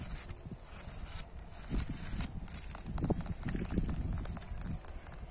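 Fingertips and nails tap and scratch the faces of a solid, weathered red brick wall with some whitewashed bricks. Dull, low thuds mix with rough, bright scraping in a loose, irregular rhythm over faint background hiss.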